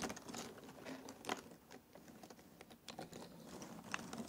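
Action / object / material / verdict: scrape / pile of thin cardboard jigsaw puzzle pieces / cardboard / none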